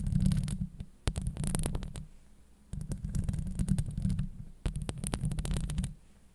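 Long acrylic nails scratch and tap the hollow steel mesh grille of a Blue Yeti microphone. The sound is deep, rumbling and close, with fast crackly scrapes and sharp taps coming in three bursts separated by short quiet gaps.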